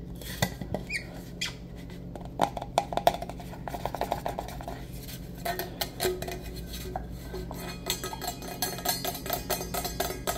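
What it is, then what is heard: Stainless steel travel mug. Fingertips and nails tap and rub a hollow, black-coated insulated stainless steel travel mug with a lid, held upright and then sideways in both hands. Quick, light clicks and taps scatter over soft scratchy rubbing, with a brief metallic ring around 700 Hz and a steady low hum underneath.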